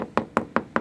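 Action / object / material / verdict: tap / fibreglass boat hull laminate / fibreglass / delaminated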